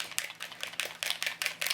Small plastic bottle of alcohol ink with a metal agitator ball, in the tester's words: I tend to give it a tap until I can hear that ball moving